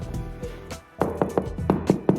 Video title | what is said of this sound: Snag List and Inspection – 6 Bed HMO in Crewe (Part 5) | you can hear that it's popped